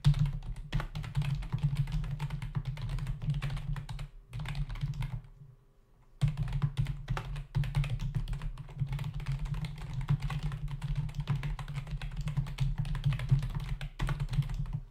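Fingertips of both hands type rapidly on a full-size black plastic membrane keyboard with hollow keys, resting on a dark desk. Dense, hollow, low-pitched clacking and thudding keystrokes continue throughout, with a brief near-silent pause just past the midpoint of the first half before the steady typing resumes.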